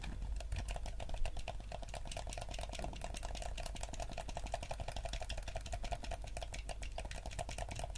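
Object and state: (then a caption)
Plastic game controller buttons being pressed. Thumbs rapidly press the buttons and stick of a yellow hollow plastic gamepad, producing a fast, continuous stream of light plastic clicks and taps. The clicks are crisp and short, sitting over a steady low hum throughout.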